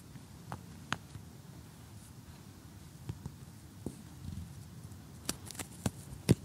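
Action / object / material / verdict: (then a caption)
tap / cardboard jigsaw puzzle / cardboard / none. A close-up cardboard jigsaw puzzle showing a cottage scene, with one piece removed, is tapped and poked with metal tweezers and a fingernail. About ten short, dry, crisp clicks and taps sound over a quiet, low background rumble, with the sharpest taps near the end.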